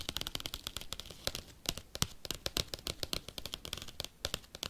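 A padded bubble mailer envelope is tapped and scratched fast with paperclips. It makes a rapid run of sharp, bright, dry clicks and ticks with a soft crinkly scratching underneath. Each click stops almost at once with no ringing.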